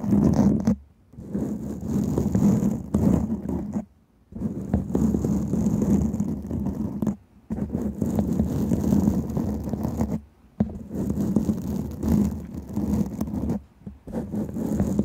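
Long painted nails of one hand scratch the top of a black foam microphone windscreen while the other hand rests on its side. The result is dense, rumbling, muffled scratching in bursts of a few seconds, separated by short near-silent pauses, with a faint high hiss above.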